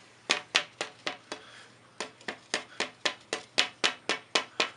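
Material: Cocobolo.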